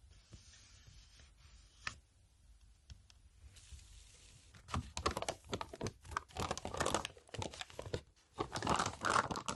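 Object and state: Paper envelope, crinkled and tapped.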